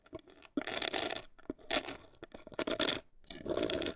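Long acrylic nails scratch the front face of a hollow, black printed cardboard cosmetic box in four dry, bright scratching bursts, separated by a few light taps. The sound is papery and raspy with almost no low end or ring.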